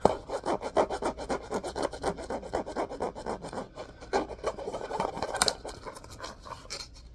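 Fingertips and nails scratch and rub the spine and cover of a solid orange hardcover book with a cloth-covered cardboard cover. Quick, dry rasping strokes repeat at roughly four per second, concentrated in the midrange with little low end. After a brief lull near the middle, the scratching resumes more softly and unevenly.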